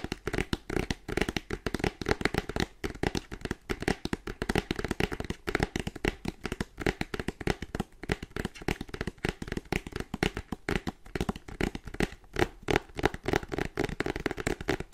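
Fingernails with dark polish rapidly tap and scratch the front face of a small printed cardboard retail box that holds a desktop charger, the box held in both hands. The result is a dense, fast stream of short, dry taps and scrapes with a hollow, boxy body and almost no ring, too packed to count individually.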